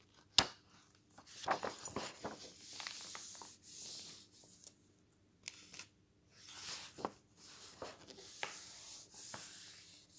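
A glossy paper magazine lies open on a wooden table while fingers turn a page, then a flat hand rubs across the glossy pages. A sharp papery snap opens the clip, followed by irregular bright swishing and rubbing strokes with short quiet gaps between them. The sound is soft and mostly high, with almost no low end.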